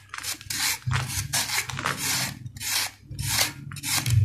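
A steel knife blade is scraped repeatedly across a flat-cut, solid sand-cement ball held in one hand. The result is a series of raspy, bright, gritty scraping strokes over a steady low hum.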